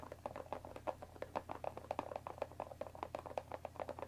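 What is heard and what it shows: Long dark nails of both hands tap rapidly on the top of a closed Earl Grey tea box of thin printed cardboard, about 20 cm long and likely full of tea bags, resting on a wooden table. The quiet, dry, hollow taps click fast and unevenly in the midrange with almost no ring, over a faint steady low hum.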